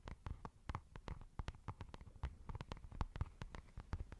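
Long nails scratch and tap on a white, textured fabric makeup pouch that is soft and hollow. About 25 quick, dull, muffled taps land in a rapid, uneven run, each dying away almost at once. Faint scratchy brushing sounds fill the gaps between taps.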